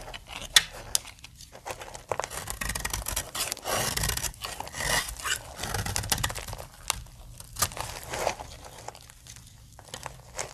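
A utility knife blade shaves powdery curls from the edge of a solid pink dry soap bar, then the bar is held with its smoothed face shown. Dry, bright scraping and crumbly crunching rasps come in uneven bursts, broken by sharp little clicks and quieter gaps.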